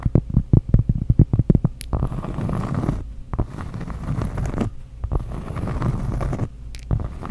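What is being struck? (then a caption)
Cork trivet tapped and scratched with fingernails. Long acrylic nails tap quickly on a thin, solid, round flat cork trivet with dark printed squares, held up close to the microphone. For about two seconds the taps come as a run of soft, dull knocks. The nails then scratch across the cork in long, low, muffled rasping strokes with brief pauses.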